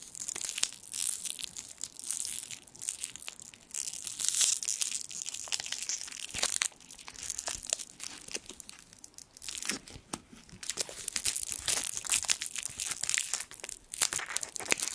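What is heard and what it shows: A small gold foil sweet wrapper is twisted and crinkled with the fingertips. It makes a dense, bright crackling and crinkling that runs almost nonstop, with sharp crisp snaps and brief quieter lulls around the 6.5 and 10-second marks. There is almost no low end.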